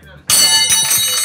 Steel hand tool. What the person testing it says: Matining. Basta maganda yung tunog niya.